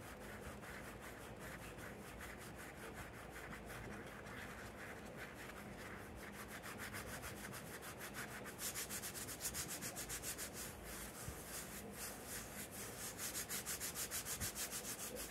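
Fingertips and nails scratch and rub across the yellow cartoon lion print on a grey short-sleeve printed cotton t-shirt worn on the body, over the soft fabric on the chest. The result is a steady, rapid, dry scratching hiss of quick strokes that turns brighter and louder in the second half.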